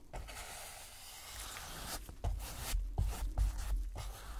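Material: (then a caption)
Canvas. A gloved hand drags a wide, flat paintbrush with a wooden handle back and forth across a flat rectangular canvas panel lying on a table and covered in wet, dark acrylic paint. A soft, airy hiss of light brushing gives way to louder, rubbing strokes with dull low thuds, each stroke adding a bright scratchy swish.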